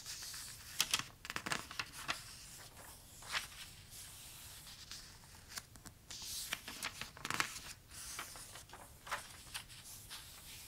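Fingertips trace and rub across a page of toy trucks in an open glossy paper toy catalog, with some page turning. The sound is a quiet, bright, papery hiss broken by sharp crinkly swipes and snaps as pages move, with almost no low end.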